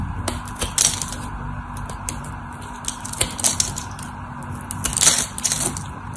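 A metal utility knife blade scrapes and carves a solid white bar of dry soap held in the hand, chipping off crisp flakes. The clip is full of bright, dry crackling and sharp snapping ticks, with louder bursts of flaking over a low, steady hum.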